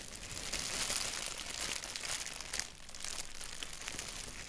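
Fingertips tap and scratch a thin white paper sheet with a black doodle print, then grip its edges. The result is a steady, bright, dry crinkling and scratching texture, mostly high-pitched with little low end and no ring-out. A brief louder rustle comes near the middle.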